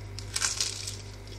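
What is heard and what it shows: A cooled banichka, a baked cheese pastry, is handled and broken, giving about four quick, bright crackling crunches over a steady low hum. The crunch shows the pastry is crispy.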